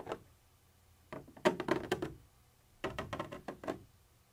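A black pointed pointer tool scratches and taps across a white textured plastic surface with a molded ridge, apparently a hollow container wall. It makes quick, irregular dry clicks and scratchy ticks in two clusters separated by quiet pauses. The sound is short and hollow-sounding, centred around the low mids with a bright edge.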